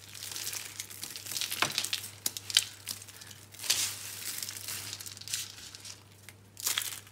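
Bare hands crush small, hollow, dry green-and-pink soap curls and rub through the soap crumbs. The result is a bright, dry crunching and crinkling made of many short, crisp cracks, with a steady low hum underneath.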